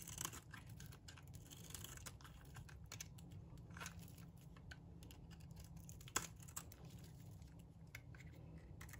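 A metal blade scrapes and cuts flakes off a solid, dry pink bar of soap held in the palm. The result is a steady run of crisp, bright scratching and crackling strokes over a low background rumble, with one sharper snap standing out partway through.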